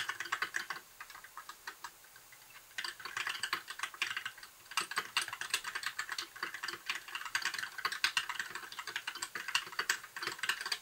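Both hands type with their fingertips on a compact white backlit mechanical keyboard with plastic keycaps, producing rapid, bright, clacky keystrokes that stop almost instantly. A quieter, sparser stretch of typing from about 1 to 3 seconds gives way to steady, denser bursts of key presses through the rest of the clip.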